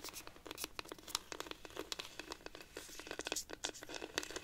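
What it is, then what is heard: Wooden cactus rainstick. A hollow, dried-cactus wooden rainstick is held upright while long nails scratch and tap along its ridged wood. The result is a quick, uneven stream of crisp clicks and dry scratching with a bright, papery edge and almost no low end. Each tap is short and dies away at once.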